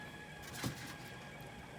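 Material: Nothing is struck.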